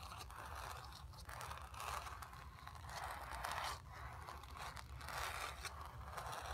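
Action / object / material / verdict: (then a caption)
scrape / acrylic-painted canvas stretched on a wooden frame / canvas / none. Long nails scratch and rub the surface of a square, acrylic-painted stretched canvas on a wooden frame, hollow behind and lying on carpet. Steady, rough scraping strokes swell and fade in slow waves, with a papery rasp centered in the mids, bright hissy edges, and a soft low rumble underneath.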